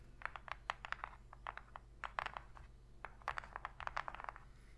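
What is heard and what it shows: Long pink fingernails tap and scratch the inner bottom of an open, empty, shallow white cardboard box. About two dozen short, dry clicks come in quick irregular bursts, bright around 1–2 kHz with no ring, over a faint low steady hum.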